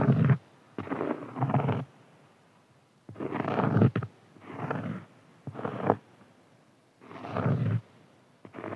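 Fingernails scratch and tap on a large, round, flat, solid cork board. Dull, rasping bursts of scratching come in uneven spurts, heavy in the low end with little brightness, separated by short quiet gaps.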